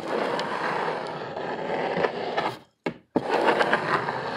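Both hands scratch hard with fingernails across a brown corrugated cardboard sheet with visible ridges, held upright. The result is a steady, dense scraping rasp with brief sharper catches. Near the three-second mark it drops to near silence, with one short scratch in the gap, then resumes just as dense.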